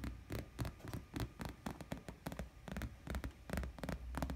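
Fingertips and nails tap and scratch the piped edge of a white glossy faux leather chair seat, making a quick, irregular series of soft, dry ticks and brushing scrapes with bright crackly tops. A steady low hum runs underneath throughout.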